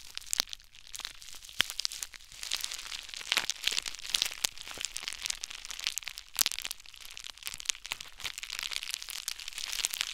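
Crumpled clear plastic bubble wrap is squeezed and rubbed with fingertips and short nails, producing a steady, dense crinkling full of sharp, bright crackles and snaps. The sound sits almost entirely in the high range, with very little low end, and the many quick clicks die away almost instantly.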